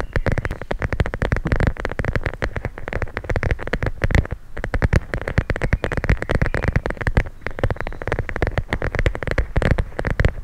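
A clear plastic pouch filled with teal gel beads is held in both hands and squeezed and scratched with long nails. Dense, rapid crackling scratches and squishy clicks run continuously throughout, with a heavy low-end body and a papery rasp on top.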